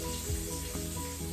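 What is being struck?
Nothing is struck.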